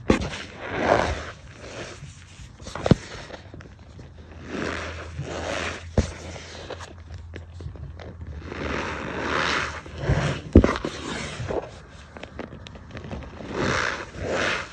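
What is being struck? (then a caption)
Cornstarch powder. A bare hand presses into a tray of loose white cornstarch and squeezes a fistful into a compacted clump. The powder gives off soft, repeated squeaky crunches in swelling bursts, broken by a few sharp clicks, over a faint low steady hum.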